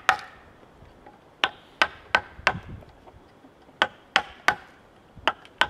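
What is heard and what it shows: A wooden mallet drives a chisel into the cut face of a large, solid cedar log, giving ten sharp, dry knocks at an uneven pace. Each chop is bright and woody with very little low end and dies away almost at once, leaving quiet gaps between strikes.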